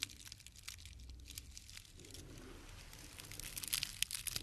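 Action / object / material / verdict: scrape / bundle of dried grass stems / dried grass / none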